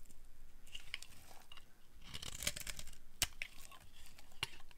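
A flat blade carves a solid orange dry soap bar held in the hand, and crunchy flakes pile up. The scraping gives a steady run of dry, crackly crunches with a few sharper, brighter snaps that stop short with no ring.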